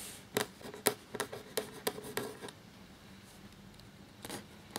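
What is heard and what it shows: A black feather quill nib scratches across a thin, cream parchment-style paper sheet lying flat while writing. A quick series of crisp, bright scratchy strokes comes in the first two and a half seconds, then a quiet pause and a few more strokes near the end.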